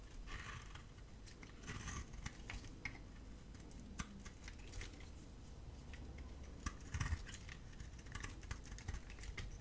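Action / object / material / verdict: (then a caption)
scrape / bar of soap shaved with a blade / soap / none. A solid beige bar of dry soap held in the palm is shaved with a gold utility-knife blade, peeling off curls that pile up beneath it. Quiet, dry scraping strokes come in uneven bursts, punctuated by short, crisp ticks over a low, soft rumble.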